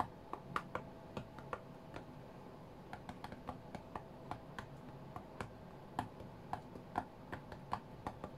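A fingertip and nail tap on the glass touchscreen of a white iPad lying flat on a mat. About two dozen short, dry, quiet clicks come in an uneven rhythm, each dying away almost instantly with a slight bright edge. A faint low background hum runs underneath.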